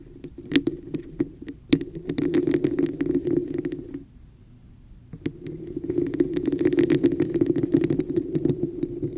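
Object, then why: Textured plastic cup. Long nails on both hands scratch and tap the sides of a hollow, red, textured plastic cup placed over the microphone. The result is a dense, hollow, resonant scratching with a boxy low-mid tone, punctuated by sharp bright taps. The sound briefly drops to near silence midway before the scratching and tapping resume.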